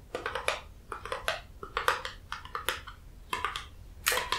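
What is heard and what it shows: Fingertips tap and handle a small, hollow, white printed cardboard Dr. Hauschka skincare box, held in the hands. The clip has quick clusters of light, dry taps, separated by short pauses. Each tap is a bright, papery click that dies away almost at once.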